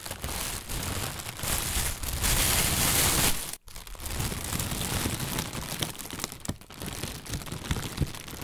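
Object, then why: Plastic bag. An inflated white plastic bag, hollow and full of air, is held in both hands and squeezed and crinkled with fingers and a fist. Dense, bright crinkling and rustling builds to a louder, hissy stretch, cuts out in a brief silence, then resumes with uneven crackles and soft pops to the end.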